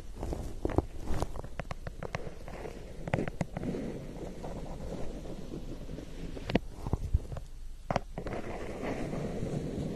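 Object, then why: Paper cup. Long painted nails tap and scratch the side of a large, hollow, printed lemonade ice paper cup. A low, rumbling scratchy texture runs throughout, broken by sharp, quick taps scattered across the clip.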